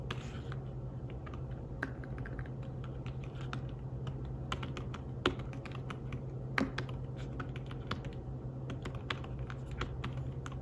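Fingertips tap the keys of a slim fabric-covered tablet keyboard while typing, making soft, irregular clicks with a few sharper, brighter taps. A steady low hum sits underneath throughout.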